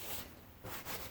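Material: Nothing is struck.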